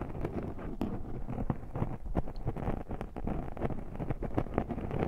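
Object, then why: Foam microphone windscreen. Fingers scratch and squish the soft black foam windscreen on a handheld recorder's microphone. The result is a dense run of close, muffled rustling and crunching with many quick scratchy hits. It is mostly low and boomy, with almost nothing high.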